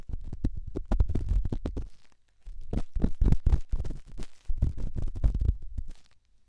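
A small, solid grey rough rock held in the fingertips is rubbed and scratched inside and around the silicone ear of a binaural microphone, mixing stone and silicone in the sound. It makes fast, irregular, low, muffled scraping thumps in three bursts separated by brief pauses.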